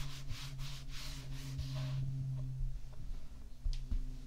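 Fingertips and a flat palm rub and stroke a smoothed layer of tan kinetic sand on a white ceramic plate. Soft, rhythmic brushing strokes with an airy, bright hiss fill the first two seconds, then fade to quieter, sparse grainy scrapes over a steady low hum.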